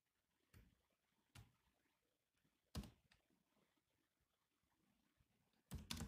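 A grey laptop keyboard with black plastic keys is tapped by both hands with the fingertips. Scattered, soft key presses land with a low thump and a bright clicky edge, spaced by quiet pauses. A quicker cluster of taps comes at the end.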